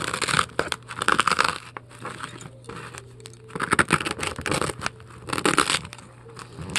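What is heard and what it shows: A metal scoop scrapes foam out of a large, heavily carved polystyrene foam ball, making loud, bright, crunchy squeaks and crackles in several bursts. Quieter scratchy gaps fall between the bursts, over a faint steady low hum.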